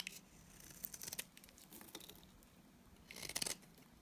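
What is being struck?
Bar of soap.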